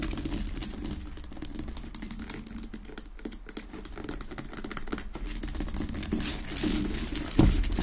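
Long nails rapidly tap and scratch a large, solid pink Himalayan rock-salt lamp that sits unlit on a wooden base. The result is a fast, irregular stream of dry clicks and bright scratchy crackle over a steady low hum. The sound grows busier and louder toward the end, with one sharper tap near the close.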